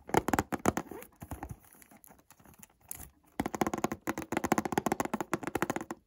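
A white Montblanc cardboard perfume box is turned in the hands while fingers rub and scratch its surface and corners. The result is dry, crinkly scratching in quick bursts that grows quieter and sparser in the middle of the clip, then returns as a steady run of rapid, close-up strokes.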